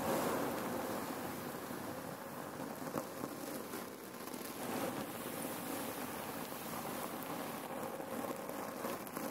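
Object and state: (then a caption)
Cloth pillow filled with cherry pits. Long nails scratch and tap a red cotton neck pillow filled with cherry pits, then hands squeeze it. The pits give a steady, dense crunching rattle, mostly in the midrange with a bright hiss on top. It comes with small sharp clicks and no pauses.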